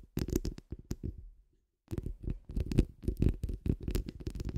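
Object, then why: Steel wire-mesh microphone grille. Long acrylic nails on both hands scratch and rake across the rounded, hollow steel wire-mesh grille of a large condenser microphone. The result is dense bursts of deep, rumbling scratching with faint bright crackle at the edges. A short silent pause interrupts it before the scratching resumes in quick, uneven strokes.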